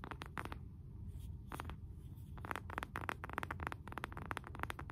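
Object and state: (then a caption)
Wooden candle jar lid. A round, flat, solid wooden candle jar lid, about palm-sized and held upright in both hands, is tapped and scratched across its face with fingernails. Quick, dry, clicky taps and short scratchy strokes come in clusters, with brief pauses, over a soft low rumble.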